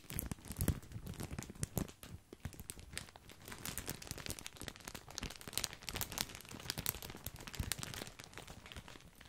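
A large, full white printed plastic bag of wavy grissini, tied at the top, is held in the hand and squeezed and crinkled with the fingertips close to the mic. Dense, dry crinkling and crackling come in clustered bursts with sharp, bright transients and some low rustle. The sound swells and eases for about nine seconds.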